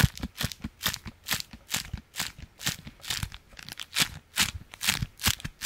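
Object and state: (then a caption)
Beeswax-coated fabric food wrap. A folded, stiff beeswax-coated fabric food wrap is held in one hand and flicked and scratched with the fingertips of the other. It gives a steady run of bright, crisp crinkling bursts, each with a soft low thud and almost no ring. The bursts come at an uneven pace, about two per second.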